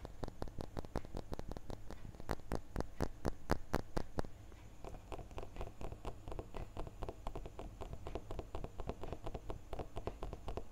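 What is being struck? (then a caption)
Solid glass crystal block. A small, solid, clear laser-engraved glass crystal block is held between both hands and tapped with fingertips and nails along its sides. The result is a fast, uneven stream of short, bright clicks over a low steady hum. The taps are loudest in the first few seconds, then continue a little softer.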